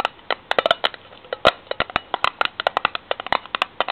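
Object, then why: Steel tin can lid. Long fingernails rapidly tap and scratch on the ridged steel end of a tin can lid held upright. About 26 sharp, dry metallic clicks land in quick, uneven succession, each dying away almost at once with a bright, papery scrape between some of them.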